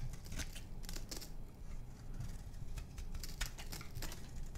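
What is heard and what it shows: A small metal knife scrapes and shaves curls off a palm-sized, solid oval bar of dry white soap held in one hand. Repeated crisp, crunchy scraping strokes come through as bright rasping bursts over a steady low rumble.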